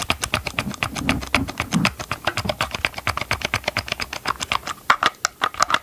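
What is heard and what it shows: Gloved fingers tap and scratch close to the mic on the underside of a chainsaw's hard plastic housing and its ribbed grip area, with the saw tilted. The result is a quick, steady run of dry, clicky taps, bright and hollow with almost no ring. A few louder, sharper taps come near the end.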